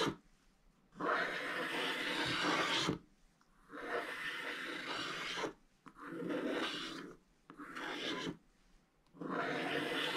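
A wooden stylus scratches away the remaining black coating on a scratch-art paper page in five separate strokes. Each stroke makes a dry, broadband rasping scrape with a bright hiss, separated by short quiet pauses.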